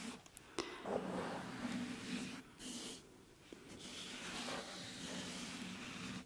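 Fingertips of both hands rub and scratch a round, soft, porous black foam windscreen over a microphone. Close, muffled scratching and rustling rise and fall, with a low droning band beneath, a few sharp clicks early on, and brighter brushy crackle throughout.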